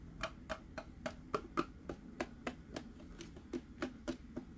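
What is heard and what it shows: Fingertips and nails tap the face and base of a hollow plastic Mickey head sipper cup with a green hat while it is held and turned in the hand. Fifteen short, dry, hollow taps come at a fairly steady pace of about three to four per second, each dying away almost at once.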